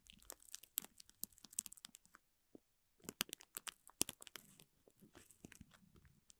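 A bristle brush strokes and scratches the crinkly film of a clear plastic wrapper around a small green toy. The sound is bright, dry crinkling and crackling in dense bursts, with a short pause just after two seconds before the scratching resumes.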